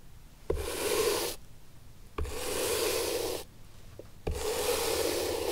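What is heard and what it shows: A bristle brush scrubs back and forth across the worn leather sole of an upright antique leather shoe, producing three separate passes of dry, broadband rasping with a steady band near 500 Hz. Each pass starts with a soft knock and fades into quiet gaps between strokes.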